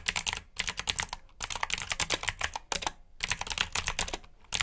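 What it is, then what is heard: Mechanical keyboard with clicky switches. Fingertips type on the keycaps of a black plastic mechanical keyboard with blue switches, producing rapid, bright, crisp clicks. The typing comes in bursts with brief pauses between them, and each keystroke is sharp and short with little low end.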